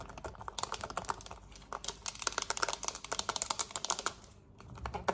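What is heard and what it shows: Long nails tap and scratch fast and hard on a black plastic TV remote, first lying flat and then held up, across its buttons and back. Rapid, bright, dry clicks with short scratchy rasps come in dense bursts, pause briefly near the end, then resume.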